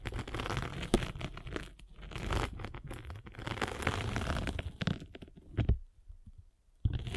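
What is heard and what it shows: A metal-spiked derma roller is rolled across a solid, palm-sized abrasive foam sanding sponge block, producing a continuous crunchy, crinkling scrape with a heavy low rumble. The texture surges and eases with the strokes, broken by a few sharp clicks, then drops to near silence before a final burst of rolling.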